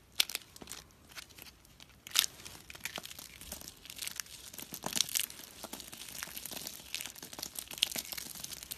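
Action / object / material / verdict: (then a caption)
scrape / soap flakes / soap / none. Two hands press, rub and crush a pile of small, solid, pale-yellow dry soap flakes between thumbs and fingertips on a rubber mat. The result is a continuous stream of dry, bright crackling and crinkling with almost no low end. Sharper crunches stand out near the start, around two seconds, and again near five and eight seconds.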